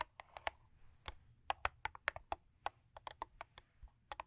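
Long acrylic nails, with rings worn on several fingers, tap and scratch the top and front of a closed, long thin purple Crest paperboard toothpaste box lying on fur. About 19 quiet, dry, clicky taps come at an uneven pace, each bright and short with no ring, and faint scratching sits between them.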